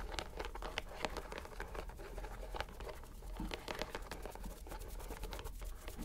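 A green rubber stress ball inside a white mesh net is squeezed and touched with a fingertip. It makes quiet, dense crinkling and pattering clicks with soft rubbery squeaks over a low background rumble.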